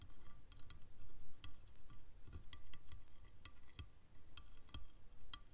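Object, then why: Ridged plastic T-profile rail. A fingernail taps a single time on a long, dark plastic ridged T-profile rail resting on a red cloth, then fingers drum on it. Short, bright, dry clicks come at an uneven pace over a low, steady rumble.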